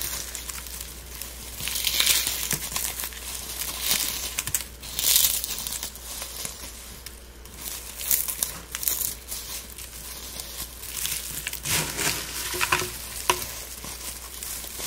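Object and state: Dried rose petals and flowers, crumbled.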